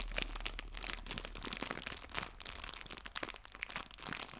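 A small clear cellophane bag full of artificial fabric maple leaves is squeezed and crinkled by fingertips and nails. It makes a steady stream of bright, crisp crinkles with sharp crackling snaps over a faint low hum.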